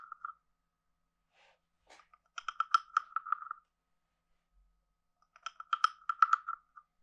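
A wooden stick is scraped along the ridges of a hand-sized, hollow carved wooden frog guiro and tapped on it. Short taps open the clip, followed by two bursts of quick ratcheting clicks with a hollow, woody croak centred near 1.3 kHz and bright clicky edges. The clicks are dry and stop almost instantly, separated by silence.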